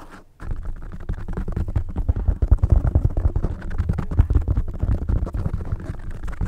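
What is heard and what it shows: Long light-blue painted nails scratch and tap a black open-cell foam windscreen, rounded and soft, covering a large microphone head. After a brief silent start, a dense, muffled, low rumbling of rapid scratches and soft thumps continues throughout, with almost no high-frequency content.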